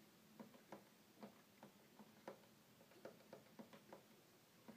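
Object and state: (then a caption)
Plastic toy keyboard buttons. Fingertips tap and click the small buttons and keys of a small red plastic toy electronic keyboard with a hollow body. A quiet run of short, dry plastic clicks sounds with a hollow midrange knock and almost no ring. It does not seem to play music; the sound is mostly button clicks.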